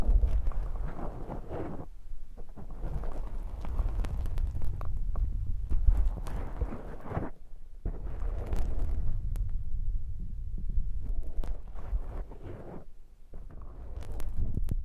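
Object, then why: Foam microphone windscreen. Fingertips and nails scratch and squeeze a soft black foam microphone windscreen, making dense, muffled rumbling and crackling with a deep low-end thump. The rustle comes in uneven bursts with brief quieter gaps, and a few sharp, bright scratch clicks cut through.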